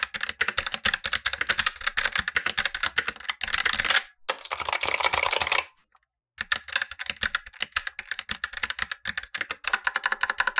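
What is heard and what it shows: Fingertips in blue nitrile gloves type rapidly on a full-size black Razer BlackWidow Lite mechanical keyboard with tactile switches and plastic keycaps, resting on a white desk. Dense, bright plastic clacks run in quick bursts with almost no low end. The typing stops briefly twice, the second time falling silent for about half a second, before resuming.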